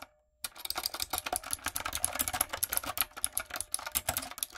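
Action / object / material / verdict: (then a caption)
tap / mechanical keyboard with round plastic keycaps / plastic / none. After a brief near-silence, long nails and fingertips type quickly on a retro typewriter-style backlit mechanical keyboard with round plastic keycaps. The result is a steady stream of sharp, bright clicks and clacks that decay almost instantly.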